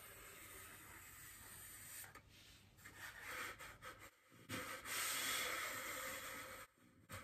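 Fingertips and long nails rub and scratch across a large, solid white polystyrene foam wreath ring, then one hand grips the ring's edge. The sound is a soft, dry, hissy scraping that is bright and airy, rising and falling in uneven strokes with brief quiet gaps and a louder, fuller stretch of rubbing near the end.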